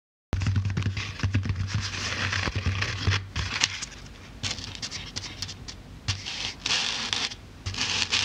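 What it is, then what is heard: Polyethylene foam block. Long black-painted nails tap and poke the top of a thick, solid, soft white polyethylene packing foam block with Halloween writing on it, held in the hands on a wooden table. Rapid, dry taps with soft low thuds and bright scratchy crackles come in dense flurries, easing into quieter scraping before louder bursts of poking return near the end.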